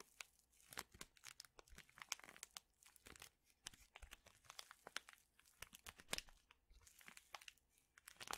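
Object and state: Paper and foil tea packet being crinkled.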